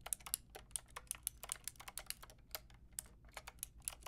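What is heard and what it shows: A full-size pink, grey and white plastic mechanical keyboard with round plastic keycaps and a hollow plastic case is typed on with fingertips and long nails. Quick, sharp clicks and clacks come in an uneven stream with bright, high ticks and no ring. A low steady hum sits underneath.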